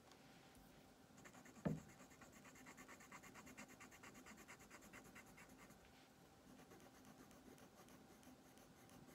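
A green colored pencil shades a thin paper coloring page on a wooden table with steady back-and-forth scratching strokes while the other hand flattens the sheet. A soft, continuous rhythmic scratching runs throughout, with one brief louder knock near the start. The overall sound stays quiet and gentle.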